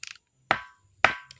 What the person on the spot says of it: isang bato na kakaiba ang tunog